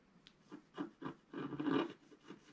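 A wooden stylus scratches the coating of a flat scratch art sheet held down by one hand, making a series of short, quiet rasping strokes. The strokes are dry and midrange with a faint bright edge, and the two in the middle run longer and louder before the last ones fade off softly.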